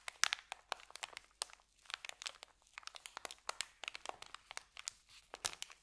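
A rolled white paper sandwich bag is held in both hands while the fingers squeeze and twist it. The result is a dense run of quick, dry crinkles and crackles, bright and high, with almost no low end. The snaps are sharp and fast-decaying and come in uneven bursts across the clip.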